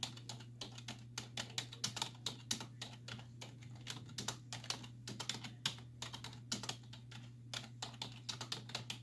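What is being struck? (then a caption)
Plastic computer keyboard. Long nails and fingertips type rapidly on the hollow keys of a black plastic computer keyboard resting on a wooden desk. The bright, crisp key taps come in quick, uneven bursts, each click dying away almost instantly, over a faint, steady low hum.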